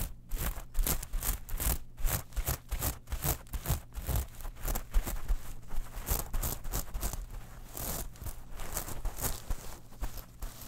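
Long manicured nails scratch over a small, flat zippered clutch pouch covered in gold, silver and black metal mesh, held and handled in both hands. Quick, dense strokes give a bright, gritty rasp over a low rumble from the handling, with short bursts running steadily for about eleven seconds.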